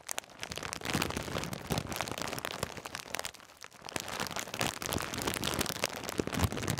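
A full foil-plastic snack bag of Twiglets is squeezed and crinkled with the fingertips close to the mic, giving dense, irregular crackling that spans from low rustle to bright, sharp crinkles. The crackle runs almost continuously, dipping briefly near the middle before picking back up.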